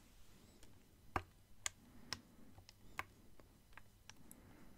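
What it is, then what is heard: Plastic water bottle with water. A clear plastic water bottle with water inside is turned while fingernails tap on its sides and bottom. Quiet, short, dry ticking taps come at an uneven pace, some brighter and sharper than others, over a faint low hum.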